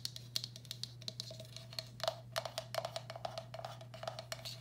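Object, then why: Glazed ceramic bowl. Long black acrylic nails tap rapidly and irregularly on the outer wall and underside of a medium, hollow, empty turquoise speckled glazed ceramic bowl. Each tap is a short, bright click with a faint mid-pitched ring that dies away almost at once, over a steady low hum.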